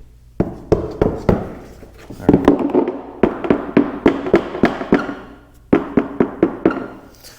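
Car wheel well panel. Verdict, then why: Resonant. Knuckle knocks on the untreated wheel well panel for the other side of a 2023 Porsche 911 GT3 (992), not yet fitted with ResoNix sound deadening. About twenty irregular hollow thunks each ring briefly with a resonant tone around 280 Hz. Compared with the treated panel, this one sounds drastically louder and more resonant.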